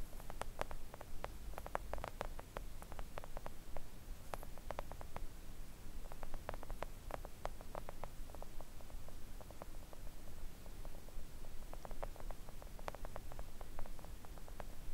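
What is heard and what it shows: Long acrylic nails on both hands tap gently on a thin, solid, flat pink silicone nail art mat lying on a table. Rapid, irregular, crisp little clicks patter throughout, each dying away almost instantly, over a steady low rumble.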